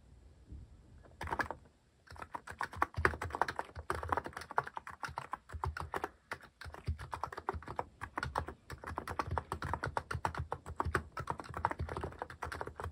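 Fingertips type on a mechanical keyboard fitted with plastic cat keycaps. A brief tap comes first, then a steady, continuous run of short, crisp clacking keystrokes with a low thock beneath each press and almost no ring.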